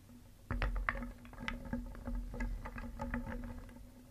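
A wooden spoon stirs small, solid painted wooden pieces in a round wooden bowl, and the pieces knock together in a quick run of short, dry clacks and rattles that starts at about half a second and continues to the end. The knocks are light and woody with almost no ring, over a faint steady low hum.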